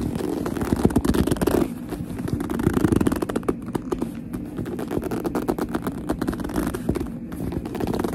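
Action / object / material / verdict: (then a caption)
scrape / leather handbag / leather / none. Long nails grip, tap and scratch the smooth front of a black leather handbag, producing a steady stream of dense, squeaky rubbing and clicking sounds. The texture is muffled, with most of its body in the low-mid range and little brightness. It continues evenly throughout, easing slightly in loudness after the opening stretch.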